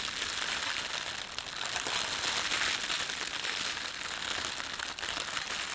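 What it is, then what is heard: Thin plastic bread bag crinkling. Fingertips squeeze and crumple a thin red-and-white printed plastic bakery bag used for bread. A continuous, bright crinkling and crackling of the thin film goes on at a fairly steady level throughout, with very little low end.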